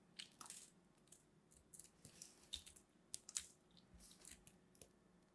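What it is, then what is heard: Dried hard soap being cut. A small, solid piece of purple dried hard soap is held pinched between the fingers while a metal blade slices and scrapes it over a pile of soap crumbs. The cuts make quiet, irregular, crunchy crumbling sounds with bright, high crackle and very little low end.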